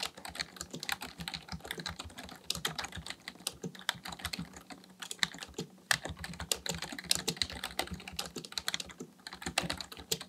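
Fingertips of both hands type continuously on a black plastic full-size membrane keyboard, a Dell KB1421 with a hollow housing, resting on a desk, pressing and tapping the keys. A rapid, uneven stream of short, bright clicks and clacks is heard, each dying away almost instantly, over soft low thuds from the hollow case.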